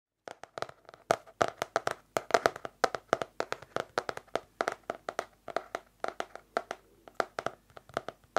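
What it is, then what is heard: Hardcover notebook tapped. A small yellow-orange hardcover paper notebook with an elastic band, held closed in the hand, is tapped on its cover with long nails and fingertips. About 45 quick, dry, hollow taps land in an uneven, rapid rhythm. Each has a mid-range knock around 680 Hz, a faint bright click, almost no low end, and dies away almost instantly.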